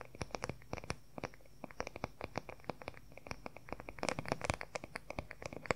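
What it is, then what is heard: Wooden paddle hair brush. Fingernails rapidly tap and scratch the wooden back of a wooden paddle hair brush with pins at its edge. The result is a dense run of short, dry clicks with brief scratchy textures, growing busier and louder toward the end.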